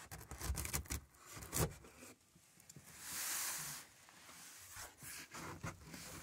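A hand's palm and fingertips rub and scratch along the top of a large, closed, taped corrugated cardboard box that is hollow with contents inside. Short dry scratches and taps come first, then a smooth, bright swishing rub, then more scattered scratching.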